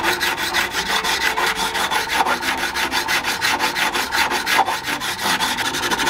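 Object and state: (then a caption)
Metal guitar frets being filed. A Fender American Acoustasonic Jazzmaster (EB BK PSLY) guitar neck lies flat on a workbench, its fingerboard masked with yellow tape so only the metal fret wires show, while a gloved hand files and rubs along the frets with a small tool in back-and-forth strokes. The result is a steady, bright, raspy scraping with quick rhythmic strokes, a mid tone around 780 Hz and almost no low end.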